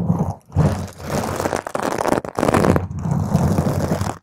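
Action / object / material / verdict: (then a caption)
scrape / foam microphone windscreen / foam / none. Long nails on both hands intensely scratch and claw a round purple foam microphone cover. The result is a dense, low, muffled rustling roar of continuous scraping, broken by a few short near-silent gaps.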